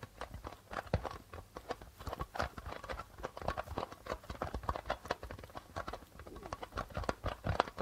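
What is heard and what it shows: Fingertips tap quickly in a galloping rhythm on the white plastic membrane of a hollow darbuka drum. The taps are short and dry, with a midrange tone and soft low thumps, and each dies away almost at once.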